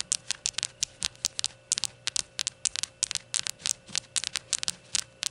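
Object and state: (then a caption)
Ceramic shot glass. Long gold nails tap and scratch the white unglazed ceramic base of a small rainbow shot glass with printed text. A rapid, uneven run of short, sharp, bright clicks and scratchy ticks dies away almost instantly, with almost no low end. A faint steady hum sits underneath.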